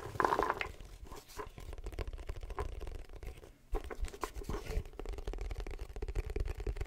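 Long fingernails tap and scratch the flat face of a hollow folding wooden chessboard box with a checkered inlay, about 30 cm, held upright. The result is a dense, continuous run of dry scratches and soft clicky taps with a muffled, low-heavy body. There is a brief quiet gap near the middle before the scratching resumes.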